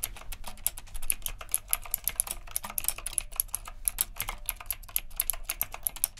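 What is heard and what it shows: Fingertips type rapidly on the round plastic keycaps of a retro typewriter-style mechanical keyboard with a metal frame. A fast, steady stream of sharp, bright clicks runs throughout, each hit dying almost instantly over a low background hum.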